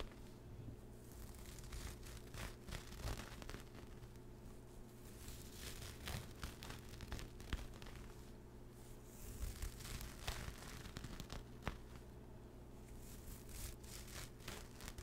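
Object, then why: Knit fabric zipper pouch. Fingertips scratch and rub the textured surface of a soft, pastel speckled knit fabric zipper pouch held to the right of the mic. The result is a continuous, gritty rustling and scraping with brief bright crinkly bursts, over a steady low hum.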